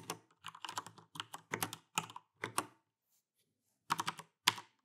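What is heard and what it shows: Fast typing with fingertips and both hands on an Alienware AW410K RGB mechanical keyboard with plastic keycaps and Cherry MX Brown switches. Quick clusters of bright, short clacks run steadily for about three seconds. A brief silence follows, then two final bursts of keystrokes.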